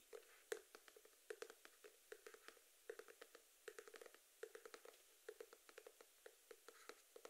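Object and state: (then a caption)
Cardboard box. A small rectangular cardboard box with a blue and pink geometric print, likely hollow, is held in both hands in front of the face and tapped rapidly with the fingertips and nails. About thirty quiet, dry, hollow taps come in uneven bursts, each with a soft mid-pitched knock around 440 Hz and a brief bright click, dying away almost instantly.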